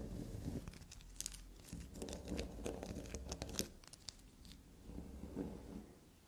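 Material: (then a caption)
Soap. A small solid black soap block resting on fabric is scratched, dug into and tapped with long black nails. The result is close, soft, irregular crinkly scraping with a dense rumbling low end, broken by quick bright clicks and crunchy taps.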